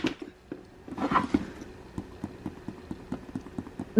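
The pebbled leather exterior of an authentic leather handbag is handled and tapped, producing a muffled rustle followed by eight soft, dampened taps with little ring. The leather sounds noticeably softer and more damped than a plastic fake.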